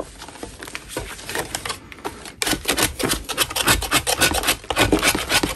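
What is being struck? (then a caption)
Natural chalk block scraped with a metal knife. A metal putty knife scrapes a solid natural chalk block held in one gloved hand. The result is a quick run of gritty, bright rasping strokes, softer for the first couple of seconds, then louder and denser.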